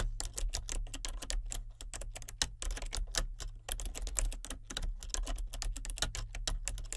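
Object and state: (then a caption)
Plastic computer keyboard being typed on. A full-size plastic computer keyboard with color-changing backlit keys is typed on continuously with fingertips and nails. Rapid, short, bright clicks and taps run throughout over a steady low hum.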